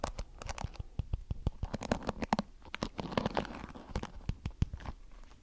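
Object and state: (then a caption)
Plastic hairbrush bristles being scratched. Fingertips scratch and flick the thin, flexible plastic bristles of a small blue plastic hairbrush with a cartoon back. The result is a quiet, rapid run of dry, sharp flicks and scratchy clicks, each dying away almost instantly. Their body sits mostly low, with only faint bright edges.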